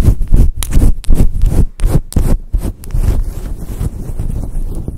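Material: Synthetic fur.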